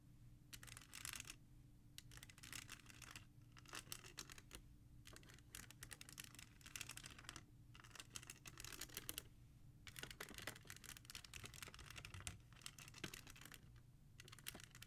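Long nails tap and trace along the spines of a row of plastic CD jewel cases in a black holder. Bursts of fast, bright clicking and scratching come in clusters separated by brief pauses, over a steady low hum.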